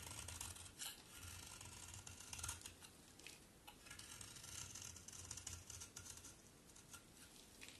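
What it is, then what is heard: Bar soap being scraped. A solid pink bar of soap, held in both hands, is scraped repeatedly with a utility knife blade. The result is a quiet, continuous, bright rasping and scratching, with brief sharper bursts standing out from the steady scrape.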